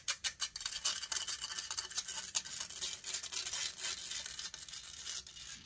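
Long painted fingernails scratch rapidly and hard across the hollow metal mesh grille of a silver condenser microphone. A few sharp opening strokes give way to a dense, continuous, bright scraping rasp with almost no low end.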